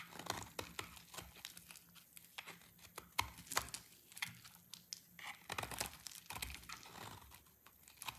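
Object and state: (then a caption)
Dry soap bar. A dry orange soap bar, held in the hand, is shaved with a utility knife blade into crumbly shavings. Quiet, dry scraping and crunching strokes with bright, crisp crackles come in quick bursts, with many short cuts spread across the clip.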